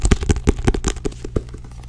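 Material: Paper.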